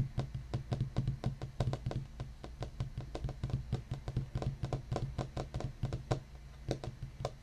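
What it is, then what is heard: Wooden desk tapped with fingertips. Fingertips of both hands tap rapidly and steadily on a large solid black wooden desktop, possibly painted or laminated, with the right index finger raised between taps. Each tap is a soft, dull knock with most of its weight in the low end, a short decay and a faint bright click, over a steady low hum.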